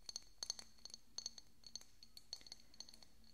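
A small, hollow, decorative pink glass bottle with a cork stopper, held beside the microphone, is tapped with fingernails. About fifteen quick, bright glassy clinks land at an irregular pace over a faint low hum. Each tap has a high ring that dies away almost at once.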